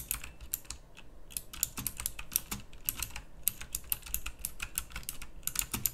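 Fast fingertip typing with both hands on a pink plastic mechanical typewriter-style keyboard with round plastic keycaps produces a rapid stream of sharp, bright clicks over a low hum. Each keystroke is short and crisp with almost no ring.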